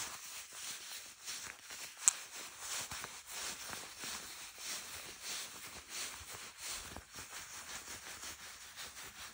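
Long manicured nails scratch and rub the smooth surface of beige faux-leather shorts being worn, near a seam. The quiet, bright, hissy scratching rises and falls in steady strokes, with one sharp high tick near the start.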